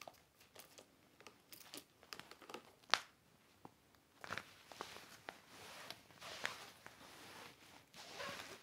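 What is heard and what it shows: A large, flat, empty, clear heavy vinyl/PVC folding toiletry organizer with zippered compartments, lying on a red blanket, is wiped and rubbed with a microfiber cloth held in the fingers. The plastic gives off quiet, bright, irregular crinkles and soft swishing rubs, with a sharper crackle near the three-second mark. Longer hissing wipes follow in the second half.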